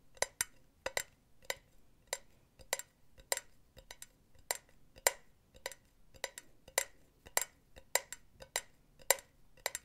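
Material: Metal mesh.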